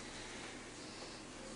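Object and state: Nothing is struck.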